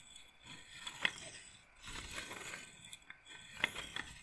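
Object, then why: Wooden beads of a roller massager. Fingernails run across the wooden beads of a wooden bead roller massager's frame and tap on them. Soft, bright scraping rolls in waves between several sharp, dry clicks that ring briefly around 2 kHz, with almost no low end.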